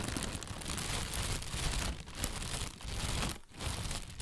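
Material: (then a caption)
Plastic. An inflated, hollow white plastic bag held from below is squeezed and rustled with the hands. It makes a steady, dense crinkling rustle with bright, crisp texture over a heavy low handling rumble. The sound briefly quiets at a few moments, most deeply near the end, before the crackling resumes.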